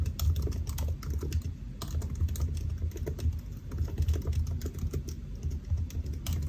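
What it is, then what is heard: Laptop keyboard being typed on. Fingertips of both hands tap the black plastic keys of a solid silver aluminium laptop resting on a white desk. Quick, bright clicks run together in a steady stream of typing over a deep, low hum.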